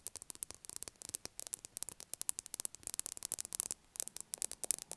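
Long acrylic nails tap on the top of a solid blue bar of soap lying on a table. About thirty quick, quiet, dry clicks come in an uneven rapid patter with a short pause near the four-second mark. Each tap is bright and high with almost no ring, over a faint low hum.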